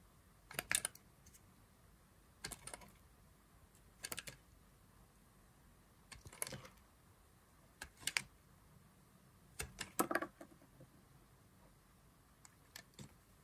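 A solid pale green oval bar of dry soap, held in the hand, is carved into thin slices with a black knife blade. Each cut makes a short, dry, crisp scraping crackle with bright high tones, coming in separate bursts with quiet pauses between them.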